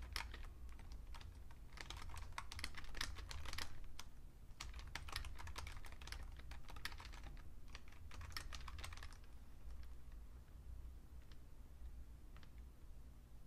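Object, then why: Plastic computer keyboard. Two hands type with their fingertips on a vintage beige plastic full-size Fujitsu Siemens computer keyboard. Quick, irregular bursts of short, bright plastic key clacks sit over a steady low hum. The typing runs dense for about nine seconds, then thins to scattered single taps.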